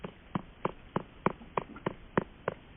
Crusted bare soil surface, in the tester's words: Do you hear that hollow sound?